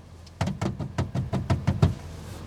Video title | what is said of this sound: Je fais essayer l'ID BUZZ par une fan VW pour ses premiers tours de roue en VE. Déçue ? Convaincue ? | quand on tape dessus ça fait un bruit chelou